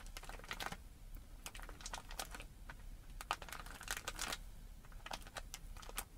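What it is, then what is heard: Plastic bag of small cookies. Long red-painted nails on both hands tap and scratch a hand-sized clear plastic bag with a cardboard header, full of small round printed cookies and lying flat on a table. The result is a steady stream of quick, bright crinkly plastic clicks and scratches, with rustling between them.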